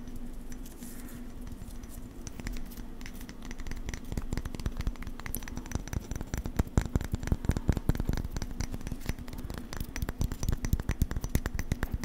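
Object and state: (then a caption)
Plaster dental cast being scratched. A plaster casting of a person's teeth is scratched, giving a rapid run of dry, scraping strokes that start soft and grow denser and louder after the first few seconds, over a steady low hum. The rasp comes close to a nails-on-a-chalkboard sound without quite reaching it.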